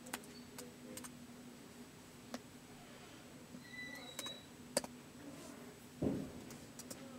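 Fingertips tap the keys of a white plastic laptop keyboard in slow typing, giving quiet, sparse, short clicks spaced irregularly over a low steady hum. One heavier, duller press stands out near the end.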